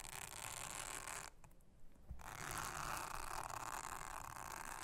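A soft plastic toothbrush brushes and scratches a thin, round blue silicone honeycomb trivet mat lying solid and flat on a table, while the other hand with long red nails rests on the mat. A dense, steady scratchy rasp with a bright, hissy top runs throughout. It dips into a brief quieter pause after the first second, then resumes slightly louder to the end.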